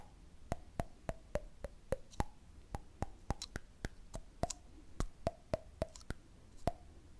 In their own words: ASMR: Cool Tapping Sounds on a Candle Lid